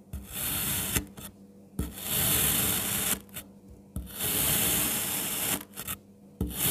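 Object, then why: Packed kinetic sand. A palm-sized strawberry shape of packed, solid red kinetic sand is sliced into thin layers with a kitchen knife. Each cut produces a dense, crunchy rasping scrape with a bright, hissing edge, separated by brief quiet pauses and small ticks as the blade is repositioned.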